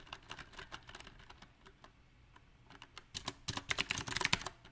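A small 68-key backlit mechanical keyboard with round typewriter-style plastic keycaps on a silver metal plate is typed on slowly and unevenly with the fingertips of both hands. Sharp, bright key clicks come in irregular bursts, sparse and soft at first, then faster and louder toward the end.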